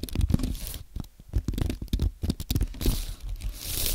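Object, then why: Aluminium and plastic computer keyboard. Fingertips type on a compact white aluminium and plastic Apple keyboard, producing a rapid run of soft, crisp key clicks with a low thud and short bright clatter. The taps come in quick uneven bursts with almost no ring after each press.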